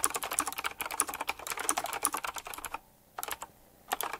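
A full-size typewriter-style mechanical keyboard with round black plastic keycaps, chrome-look rims and a metallic frame is typed on quickly with fingertips. It gives a rapid stream of sharp, bright clicking taps that stop for a brief pause near the three-second mark. The typing then resumes in a few short bursts.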